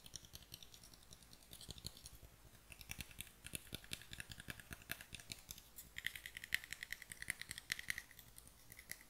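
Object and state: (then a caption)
Small pine wooden box tapped and scratched with nails. A small, light, hollow pine wooden box, opened then closed and held in both hands, is tapped and scratched with long dark nails. Quick, dry, bright clicks and scratchy taps follow one another with almost no ring. In the second half a faint tone near 2 kHz runs under the tapping.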